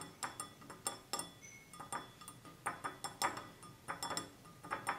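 An empty-looking, hand-sized, clear stemless wine glass with a red band at its base is held in the hands and tapped with fingertips and nails. A quick, uneven series of light taps produces bright glassy clinks around 960 Hz, each ringing only briefly before fading.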